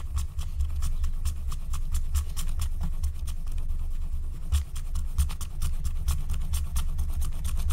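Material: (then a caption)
Coated paper. A wooden stylus scratches a flat, thin, black wax-coated paper scratch-art card lying on a table in quick, short strokes, while the other hand with long nails rests nearby. Rapid, dry, rasping scratches come as bright, high streaks over a steady low rumble, continuing evenly throughout.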